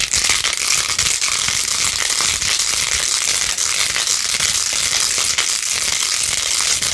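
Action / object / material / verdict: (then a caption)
scrape / plastic phone case with faux-pearl beads / plastic / none. Long nails scratch fast across a small hand-held phone case with a rose-gold plastic rim, covered in pink faux-pearl beads. The result is a steady, dense, crackly scratching that is almost entirely high and bright, with little low end, holding an even level throughout.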